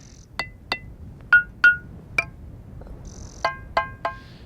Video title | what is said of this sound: Teide - De Parque en Parque - La2 | con un poco de paciencia podríamos encontrar todas las notas de una escala musical. Podríamos hacer una octava y construir con ella una especie de xilófono de piedra, un litófono